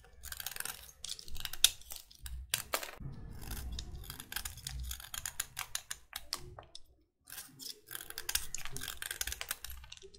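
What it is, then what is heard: Chalk stick being scraped. A solid white chalk stick held in the fingers is scraped repeatedly with a metal utility knife blade, flaking off shavings. Quick, dry, bright scratching strokes come in dense bursts with low rumbling beneath, pausing briefly before resuming.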